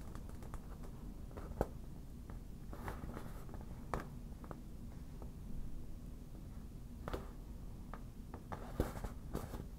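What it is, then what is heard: Inflatable vinyl beach ball. Long black nail tips tap and scratch the surface of an inflated, hollow yellow vinyl beach ball at close range. Soft, scattered taps and brief bright clicks stand out over a steady low rumble, with faint scratching between them. Each tap dies away almost instantly.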